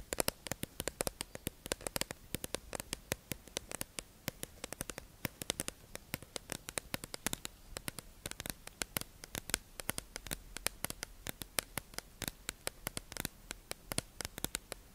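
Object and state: Plastic sponge package tapped with nails.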